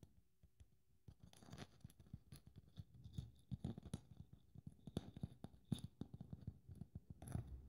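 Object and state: Glitter Christmas ball ornament scratched.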